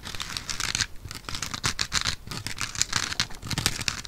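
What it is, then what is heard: Foam sponge block. A soft, porous rectangular yellow foam sponge block is scratched with long painted nails. The result is a continuous run of dry, bright scratching and crinkling strokes that overlap, with brief pauses between bursts.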